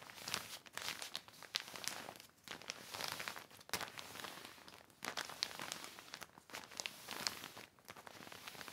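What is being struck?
Heavy plastic sheet.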